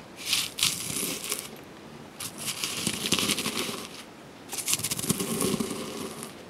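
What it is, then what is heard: Freeze-dried strawberries being crushed. Brittle freeze-dried strawberry pieces, already partly broken into chunks, are pounded and crushed with a granite pestle inside a granite mortar. Three bursts of dry, bright crunching and crackling come in irregular bouts, with quieter gaps between.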